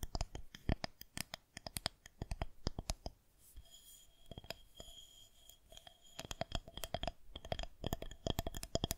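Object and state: Plastic rolling pin.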